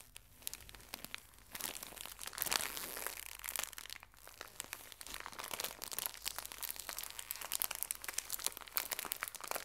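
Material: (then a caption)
Thin plastic. A full pocket tissue pack in thin plastic wrap is squeezed and crinkled by fingertips with long nails. Dense, bright crackling pops come in quick succession with almost no low end. They build after the first second and carry on steadily to the end.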